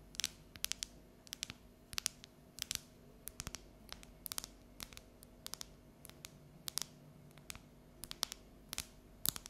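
Long neon nails tap and scratch the segments of a solid, unwrapped bar of dark chocolate held above the counter. Dozens of sharp, bright clicks come in quick irregular bursts with almost no ring, over a faint, steady low background.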